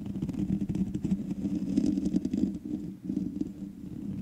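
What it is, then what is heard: Metal mesh microphone grille being scratched. Long manicured nails of both hands scratch the black metal mesh grille of a large USB condenser microphone with a hollow head. The result is a dense, continuous scratching rumble with a boomy low body around 200–250 Hz and little high end, briefly dropping away near the three-second mark before resuming.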